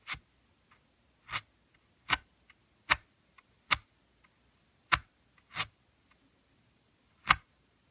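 Fingertips and nails tap on the glossy cardboard cover of a thin book printed with red leaves, lying flat on a woven mat. The taps are sharp, bright and dry, arriving at an uneven pace with faint softer touches in between, and each one dies away almost instantly.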